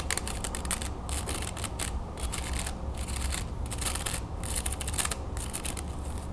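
A thin, slatted wooden folding fan in a sandalwood style, carved with pierced patterns, is partly folded and then spread while its slats are scratched and tapped with long nails. Rapid bursts of dry, crackling scratches and light clicks come one after another in quick succession. A steady low hum runs underneath throughout.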